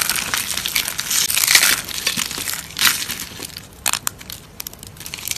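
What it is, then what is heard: Dry soap curls. A hand with long pink nails squeezes and crushes dried brown soap curls in a plate. Dense, bright, dry crunching and crackling builds to loud bursts near the start and middle. It then thins into sparse, sharp crackles toward the end.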